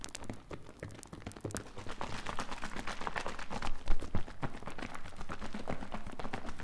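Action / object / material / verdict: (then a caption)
shake / plastic bottle of liquid / plastic / none. A medium plastic mouthwash-style bottle, partly filled with green liquid with white foam on its surface, is held in the hands and shaken. The liquid sloshes in quick, uneven pulses, about four per second, each a short dull splash with a deep, low-heavy body and little brightness. The sloshing grows louder and busier midway and peaks briefly around four seconds before settling into a steady rhythm.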